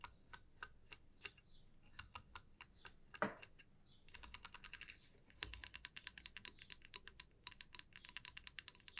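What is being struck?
Wooden comb tapped with fingernails.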